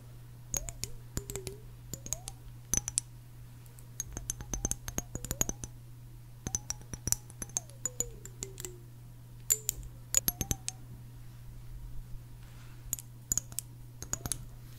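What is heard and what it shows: Long nails tap and click on the bottom and sides of a small decorated clear glass jar with a green plastic lid as it is turned in the hands. The result is many short, sharp, bright clicks in uneven bursts, each dying away almost at once, with faint squeaky glides between some taps. A steady low hum runs underneath.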